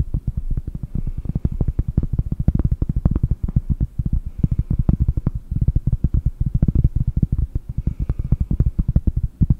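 A round, solid cork disc held in both hands in front of a microphone is tapped rapidly with fingertips and long nails. The result is a dense, steady patter of short, dull thuds, deep and muffled with almost no ring after each tap.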